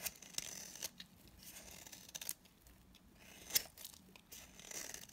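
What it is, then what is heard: Dry bar soap being scraped. A utility knife blade scrapes across a dry, palm-sized solid blue bar of soap held in the hand, chipping off brittle pieces. The sound is quiet, bright and crisp: dry scraping rasps broken by sharp little cracks and ticks as flakes snap away, with almost no low end and no ring after each snap.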